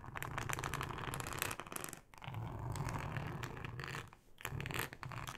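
Long acrylic nails scratch along the ribbed texture of a thin, flexible yellow plastic cutting mat lying flat. The result is a dense, rapid rasp of tiny clicks over a low rumble, with bright scratchy detail. It comes in three sustained passes separated by two short pauses.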